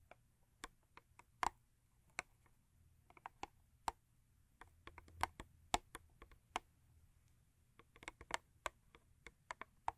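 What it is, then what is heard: Cardboard toothpaste box tapped with nails. Long acrylic nails tap the front and top of a long, thin printed cardboard Crest toothpaste carton, giving 19 quiet, dry, hollow clicks at an irregular pace. Each tap is brief and dies out almost instantly, with a light papery tone around 700 Hz.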